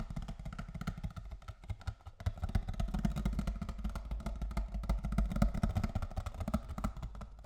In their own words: 14:59 ココアの箱タッピング